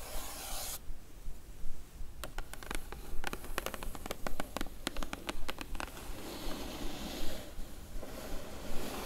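Long glittery nails on both hands scratch and rub across the lid of a closed, hollow blue printed cardboard box. A soft, breathy rubbing hiss runs throughout, broken in the middle by a quick flurry of sharp, bright ticks as the nails catch the lid, then eases back to steady scratching over a low hum.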